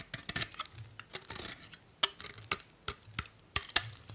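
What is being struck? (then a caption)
Bar of soap cut with a metal blade. A solid blue bar of soap held in one hand is shaved with a metal utility blade, peeling off thin curls. Short, crisp scraping cuts with a bright, high texture repeat in uneven bursts, some louder and sharper than others.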